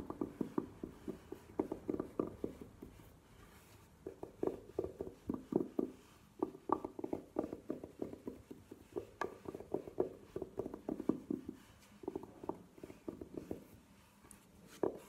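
Long nails tap and scratch the sides of a hollow, burgundy velvet-covered hard jewelry case standing upright on a table. Bursts of soft, quick, muffled taps with a hollow midrange tone around 340 Hz die away almost instantly and mix with faint scratching. Short quiet pauses separate the bursts.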